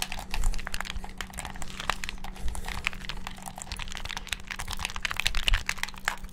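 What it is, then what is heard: Plastic game controller buttons pressed. Fingertips and thumbs rapidly press the buttons and triggers of a hand-sized, hollow black plastic gamepad held in both hands above the mic. The result is a dense, fast stream of short, bright plastic clicks and taps with almost no ring, over a steady low hum.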